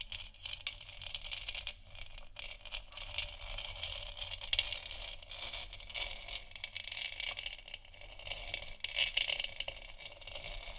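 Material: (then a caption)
Plastic. Long nails scratch the surface of a large, hollow, textured plastic moon lamp sphere. The result is a continuous, bright, crackly scraping with dense rattly ticks and slight level swells.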